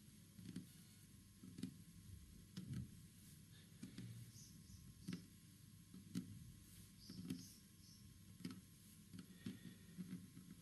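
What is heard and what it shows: Fingertips and nails tap and scratch across the grain of a large, flat, solid green-stained wooden panel. About ten soft, dull, low-pitched taps land at uneven intervals, with quiet scratching between them over a faint steady background hiss.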